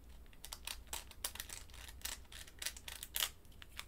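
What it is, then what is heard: Plastic candy wrapper crinkled. A small pink candy in a crinkly plastic wrapper is held between the fingertips and squeezed and crinkled with long white nails. Quick, irregular bright crackles and rustles come in short bursts, with a sharper crackle near the end over a faint, steady low hum.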